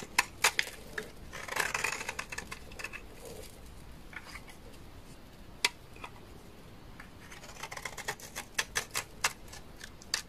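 A knife blade repeatedly scrapes a solid bar of dry white laundry soap, shaving off white shavings. Short, bright, crisp scraping clicks are heard, with a denser rasping burst early on and scattered sharp strokes toward the end, all dying away almost instantly over a quiet background.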